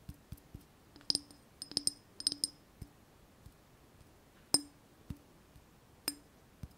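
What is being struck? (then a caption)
Small glazed ceramic vase. A small white glazed ceramic vase with a wavy relief pattern, hollow and held in the hands, is tapped and scratched with long nails, and its base is also tapped. Quiet, bright clinks ring out in clusters, with a faint low knock under some hits and short, quickly fading tones in between.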